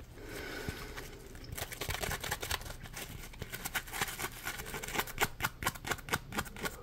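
Fingertips scratch and flex a palm-sized, solid yellow smiley-face Scrub Daddy sponge made of polymer foam. A soft, quiet rustle builds into irregular, dry scratching with bright, crackly bursts. The scratching grows denser and sharper toward the end.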